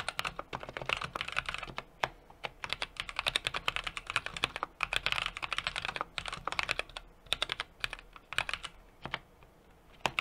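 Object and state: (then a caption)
Mechanical keyboard being typed on. Fingertips type continuously on a small 60% mechanical keyboard with an aluminum case, brass plate and plastic keycaps. Rapid, bright clacks fall in uneven bursts, each dying away almost at once. There are short lulls near 2, 5 and 9.5 seconds.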